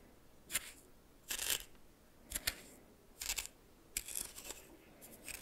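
A red plastic spoon scrapes and stirs through dry coarse white salt in a small greenish metal bowl. The result is a series of short, bright, gritty crunching bursts, roughly one per second, each with a sharp onset and almost no ring, over a quiet background.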